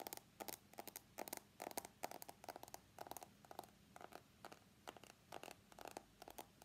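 An iPhone X is held sideways with its screen toward the camera while fingernails scratch and tap along its steel side frame. Quiet, dry bursts of clicky, bright scratching come in an irregular stream, with a midrange ring around 700 Hz. Each contact dies almost instantly over a faint steady low hum.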